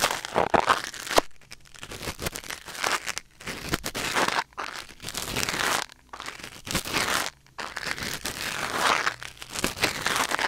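A thin wooden or bamboo ear pick held in the fingers scratches and scrapes inside the ear canal of a white silicone ear mounted on a black binaural microphone. Close, bright crinkling and crackling scrapes come in bursts separated by brief near-silent pauses, with very little low end.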